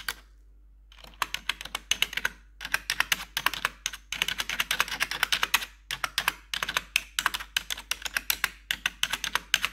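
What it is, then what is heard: Plastic computer keyboard tapped with metal nail tips. Metal claw nail tips tap the black plastic keys of a blue-backlit computer keyboard. After a brief quiet start, a rapid, uneven run of sharp, bright clicks follows, each dying away instantly, with a few short pauses between bursts.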